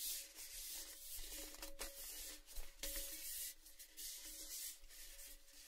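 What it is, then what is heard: Metal tin tapped and rubbed. A tall, hollow, empty cylindrical metal Baileys tin painted orange, with its lid off, is held in both hands and tapped and rubbed with fingertips and nails. A steady, bright scratchy rubbing hiss carries on throughout, broken by a few sharper taps that give off a faint, short metallic ring.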